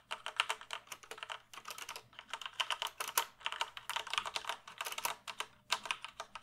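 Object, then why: Plastic computer keyboard. Fingertips type on a full-size black plastic computer keyboard held at an angle, producing rapid, bright clicking keystrokes in quick bursts with brief pauses between them. Each click is short and dry, dying away almost instantly, with its energy in the mid and high range and almost nothing low.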